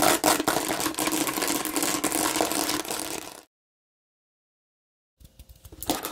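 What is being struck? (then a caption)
Bumpy plastic bottle. Long pink nails on both hands scratch a hand-sized hollow red-and-green plastic watermelon-shaped bottle with raised bumpy seeds and a red cap. The result is a dense, bright, rapid scratching and clicking for about three and a half seconds. It then cuts to complete silence, and softer scratching resumes and builds again near the end.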